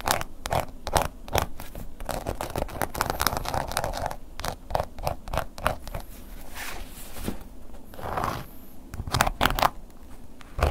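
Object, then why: Textured leather wallet. A wooden ear pick scratches the textured face of a black woven-embossed leather long wallet, first lying flat and then held upright. Quick, dry scratching strokes come in close bursts with short pauses, each stroke sharp and brief with a crisp mid-range rasp and a faint high edge.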